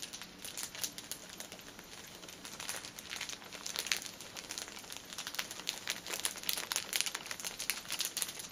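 Long painted nails tap rapidly on the top of a cellophane-wrapped pack of paper pocket tissues, a plastic-film-wrapped stack of filled tissue packets resting on a table. Each tap gives a quick, bright crinkle with almost no low end, forming a steady, quiet patter that grows a little busier and louder toward the end.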